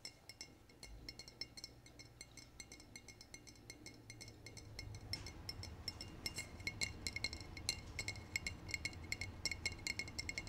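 Short painted nails tap a brown glass bottle with a paper nutrition label. Quick, irregular, high-pitched glassy clinks with almost no ring sound over a low background rumble. The taps grow louder and busier in the second half.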